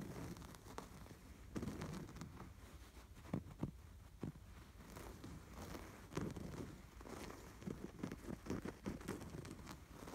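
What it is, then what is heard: Embroidered canvas throw pillow. Fingertips and nails scratch and rub across the stitched pattern of a cream canvas throw pillow embroidered with a red and white sweater, a soft stuffed cushion. The result is a quiet, dull, low-heavy rustling scrape broken by frequent short, crisp scratches and clicks that flare briefly into brighter frequencies.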